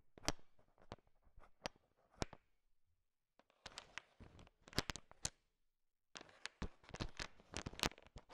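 A heap of small, hard, sugar-shelled peanut M&Ms fills a bowl and is stirred and tapped with a thin wooden stick. The result is bursts of sharp, dry clicks and rattling with bright high-end crackle. Each burst is followed by a short silent pause.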